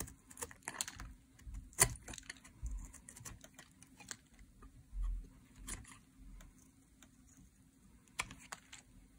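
A metal blade shaves curls off the face of a solid green dry soap bar held in hands with long gold and black nails. Short, crisp, bright scraping ticks come at an uneven pace over a faint low rumble, with a few louder, sharper scrapes standing out.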